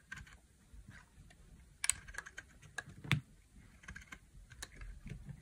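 A utility knife blade carves a dry, solid, palm-sized tan bar of soap into long curls. Quiet, crisp scraping and brittle clicking come in short bursts over a low background rumble, with a few sharper bright snaps standing out.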